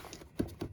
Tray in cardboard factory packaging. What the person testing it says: when I shake it there's no nothing's rattling around in there